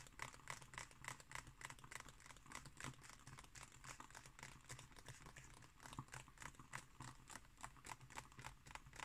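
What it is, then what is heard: Glossy paper book pages. Long painted nails on both hands scratch and tap the thin glossy paper pages of a large open illustrated book lying flat on a table. The result is a quiet, rapid, irregular patter of crisp, bright ticks with short papery scratches between them, over a steady low hum.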